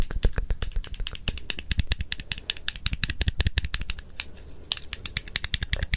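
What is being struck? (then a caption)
Handheld plastic and metal stapler. A small handheld stapler with a blue plastic body and metal inner mechanism, held in one hand, has its jaws opened and pressed close to the microphone. It produces rapid, dense sharp clicks and rattles with a bright top and a low thump beneath. The clicks stay very short and dry throughout the clip.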